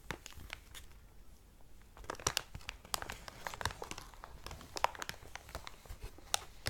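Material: Plastic.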